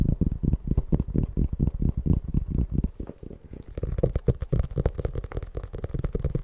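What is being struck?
Paperback book, paper.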